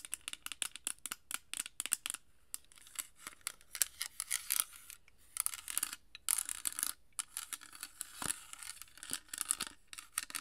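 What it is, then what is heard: Glass perfume bottle. A small rectangular amber glass perfume bottle with a dark cap, partly filled, is tapped and scratched with long nails. Quick, bright clicks and scratchy bursts come in dense clusters with brief pauses between them, each sound stopping almost instantly with no ring.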